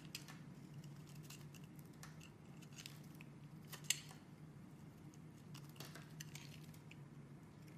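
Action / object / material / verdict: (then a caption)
scrape / bar of soap shaved with a metal blade / soap / none. A metal utility-knife blade shaves and scrapes along the edge of a solid rectangular cream-white Dalan bar soap, embossed with lettering and held in one hand, chipping off small soap flakes. Quiet, dry scraping and bright crackly ticks sit over a steady low hum, with one sharper click near the middle.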